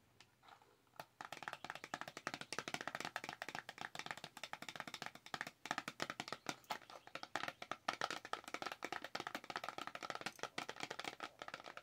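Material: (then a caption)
Cardboard. Long acrylic nails rapidly tap a small, hollow white printed cardboard box for Dewy Skin primer, held in both hands. It makes a dense run of dry, clicky taps with almost no low end and a hollow tone around 1.3 kHz. Each tap dies almost instantly.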